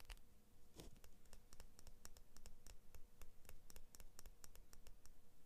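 Long painted fingernails scratch along the thin steel blade of a small pair of scissors with orange-and-blue plastic handles. The result is a quiet, rapid, irregular series of short, bright ticks and scrapes over a faint, steady low hum.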